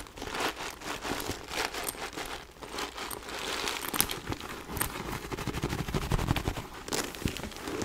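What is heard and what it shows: Long nails scratch across the quilted faux leather surface of a small white backpack with a gold chain as it is held. The result is a steady, dense run of dry, crinkly scratching with a bright hiss and irregular louder swipes throughout.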